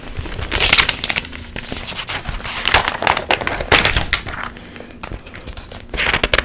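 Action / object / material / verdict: flick / glossy paper magazine pages / glossy paper / none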